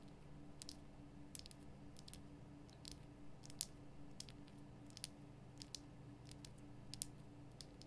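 Long painted nails tap and scratch the rough surface of a large, lit pink Himalayan rock-salt lamp, a solid crystal block held close. Quiet, sharp, bright clicks and brief scratches are scattered irregularly over a steady low hum.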